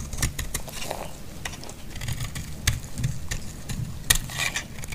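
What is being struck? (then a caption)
Bar of soap cut with a blade. A solid, dry green bar of soap is held in hand and cut and scraped with a utility blade. The cuts produce a run of short, crisp scraping clicks with bright, high edges over a low, steady rumble, the sharpest snaps near the middle and end of the clip.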